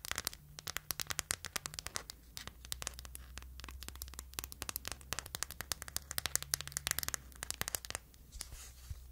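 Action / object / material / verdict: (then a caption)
tap / hard plastic phone case / plastic / none. Long nails rapidly tap and scratch the back of a phone held in hand, in a clear hard plastic case over a printed anime insert. The result is dense, sharp, bright clicks with little ring, over a steady low hum.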